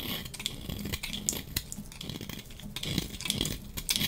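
A hand-held, hand-sized dry bar of solid yellow-striped soap is shaved with a metal utility-knife blade, curling off flakes. The result is a steady run of dry, crisp scraping and crackling with quick bright ticks and little ring.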